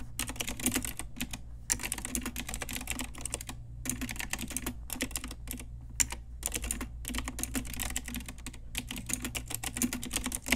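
Fingertips with long nails type densely on an Ajazz pink typewriter-style retro mechanical keyboard with round plastic keycaps. Rapid bright, sharp plastic clicks and clacks come in quick bursts with brief pauses, over a steady low hum.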